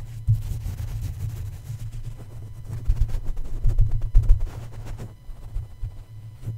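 A soft plush Snoopy toy's paw taps and pats on the black metal mesh grille atop the hollow head of a red USB condenser microphone. The result is a string of muffled, deep thumps with almost no brightness, each dying away almost instantly over a low rumble.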